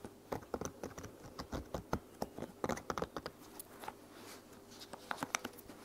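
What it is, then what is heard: Silicone pop-it toy. A heart-shaped silicone bubble pop toy is popped while resting on a blanket, then held and popped by hand with long nails. Around twenty quick, soft pops and clicks sound in an uneven rhythm, each short and dry with a bright edge and no ring. Faint scratchy rustling fills the gaps between them.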